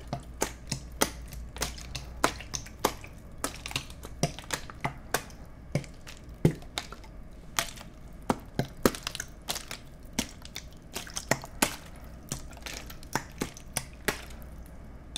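A clear, empty plastic water bottle is held in both hands while fingertips tap and squeeze the hollow bottle. This produces a steady run of short, sharp crackles and clicks that stop almost instantly, spread across the clip over a faint low hum.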